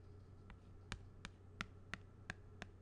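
A thin black pen-like tool taps the surface of a small, flat, thin, hollow plastic badge holder with a purple printed card inside, held in one hand. Seven short, dry, light taps are heard, the first faint, each with a bright click and almost no ring. A low steady hum sits underneath.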